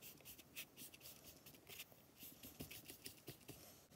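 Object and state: Kinetic sand.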